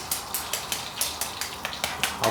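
The crispy coating of fried chicken gives a series of about 12 short, bright, crackly clicks over a faint steady sizzle-like hiss, with the last one slightly longer and louder. The dry, sharp crackle shows how crispy the coating is.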